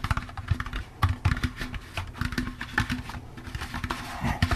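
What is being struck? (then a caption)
Plastic pumpkin candy bucket. A hollow, empty orange plastic jack-o'-lantern candy bucket with a wire handle is tapped with the fingertips on its sides and rim. A rapid, uneven series of soft, dull knocks has a low, hollow body and short, dry clicks on top. Each tap dies away almost instantly.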